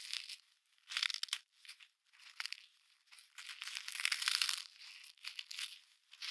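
A solid block of packed snow, held in gloved hands, is squeezed and broken apart by the mittens, giving bursts of dry, bright crunching and crumbling with short quiet gaps between them. The sound is all high and crisp with no low end, and the rustle of the glove fabric may be heard under it.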